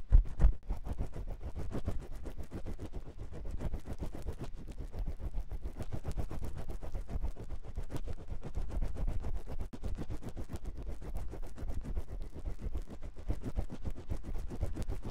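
A long metal spiral ear pick scratches inside the canal of a white silicone ear on a 3Dio binaural microphone. It makes a steady, rapid stream of dull, low rumbling scrapes and thumps, with almost all the energy deep in the bass and nothing bright, after a slightly louder bump at the very start.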